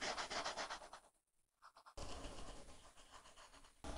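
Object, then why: Plastic stylus on tablet glass with matte plastic film. A plastic stylus tip rubs back and forth quickly across an iPad glass screen covered with a flat, solid matte plastic film to fill in color, making a dense, scratchy rubbing sound. The rapid strokes pause for about a second with only a few faint light strokes, then resume steadily until the end.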